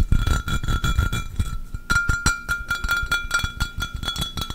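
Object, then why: Pressed glass pitcher. An empty, hollow, clear pressed-glass pitcher is held up close and tapped and scratched on its embossed surface with fingertips and nails. A fast, uneven run of short taps gives heavy low thumps and dry, brief clicks. A thin glassy ring lingers around 1.3 kHz with faint higher overtones.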